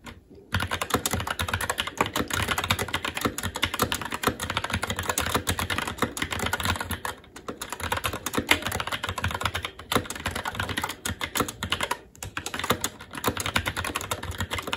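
Fingertips of both hands type continuously on a SteelSeries Apex 7 TKL mechanical keyboard with Red switches, black plastic keycaps on a metal plate and a hollow RGB-backlit case, resting on a desk. Dense, rapid clacks with a bright click and a low thock from the hollow case fill the clip, with short pauses near 0.3, 7.2 and 12 seconds. Each keystroke dies out almost instantly.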